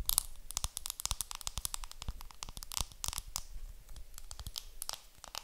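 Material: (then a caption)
Plastic film. A round makeup compact wrapped in clear plastic film is held in the hands while long nails scratch and crinkle the film. The result is a dense run of dry, crackling crinkles and sharp, bright clicks, each ending instantly with no ring, over a faint low rumble.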